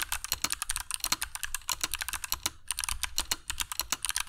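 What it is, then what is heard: Mechanical keyboard with plastic keycaps. Fingertips of both hands type continuously on a compact black mechanical keyboard with dark PBT plastic keycaps and Kailh Box Jade switches, resting on a cork desk mat. The keys give a rapid stream of crisp, bright clicks, each dying away almost instantly, with a brief pause midway before the typing resumes.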